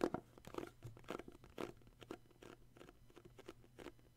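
Fingertips tap and grip the sides of a small, hollow, glossy red cardboard gift box with an illustrated sleeve, held in the hands. A quiet, uneven run of soft, dry taps and crinkly scratches follows, each dying away almost instantly. A faint steady low hum sits underneath.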